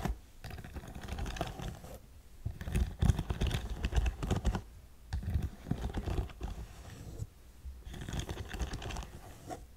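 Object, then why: Studded faux suede boot. Long nails tap and scratch across an empty black studded faux suede boot, giving dense bursts of soft clicky taps and rough scratching that come and go in clusters, with brief quiet gaps between.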